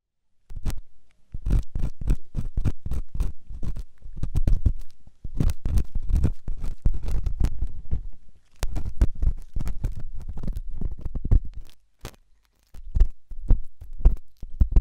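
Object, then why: Silicone ear model with metal ear-cleaning tool. A metal ear-cleaning tool, first its flat spatula end and then its hook end, scratches and scrapes inside the canal of a white soft silicone ear model mounted on a binaural microphone. Dense clusters of short, dry, crackling scrapes come in bursts with brief silent gaps. The sound is deep and muffled, almost entirely low rumble.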